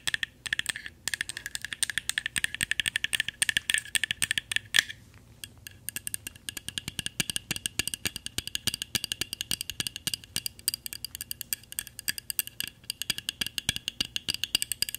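A small, solid, painted wooden kokeshi doll is held in one hand and tapped with paperclip fake nails worn on the other hand's fingertips. The result is rapid, continuous clicking with a dry, bright tone and very short decay. During the first few seconds a faint ringing tone sits under the taps before the clicking becomes crisper and more even.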